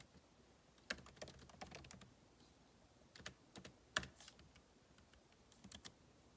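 Two hands type with their fingertips on the backlit keyboard of a MacBook Pro laptop, its plastic keycaps set in a hollow aluminum body. Quiet, irregular bursts of short, bright key taps click and die away almost at once, with a few sharper taps standing out and brief pauses between clusters.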